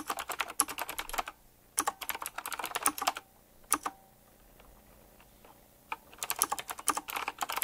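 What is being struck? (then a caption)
Mechanical keyboard with round plastic keycaps and metal frame. Fingertips type quickly on a full-size typewriter-style mechanical keyboard with round black plastic keycaps, chrome-look rims and a metallic frame. Rapid bursts of crisp, bright clacking keystrokes are broken by short pauses and a longer near-silent gap before the typing resumes.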